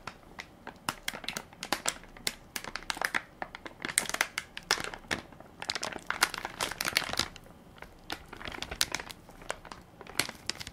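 Fingertips and nails crinkle and scratch the soft plastic-film top of a full baby wipes pack with a plastic lid, held in one hand. Quick, sharp, bright crackles come in dense, uneven bursts with almost no low end. Each snap dies away at once, over a quiet background.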